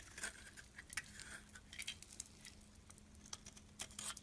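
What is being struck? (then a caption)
Bar of soap scraped with a metal blade. A metal utility blade scrapes flakes off a solid, pale lilac, faceted bar of soap held in the palm. Quiet, bright, crisp scraping comes in short uneven bursts with quick dry crackles, over a faint steady low hum.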